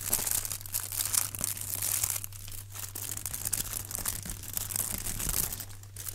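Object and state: Foil-wrapped block being crinkled.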